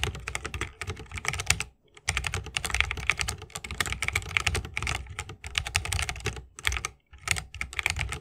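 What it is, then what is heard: Mechanical keyboard typing. Fingertips of both hands type fast on an RGB-lit 60% mechanical keyboard with plastic keycaps on tactile Holy Panda switches, set in a solid bamboo wooden case on a wrist rest. The result is a dense stream of short, bright clacks with a soft low thock beneath. Brief pauses fall near the 2-second and 7-second marks.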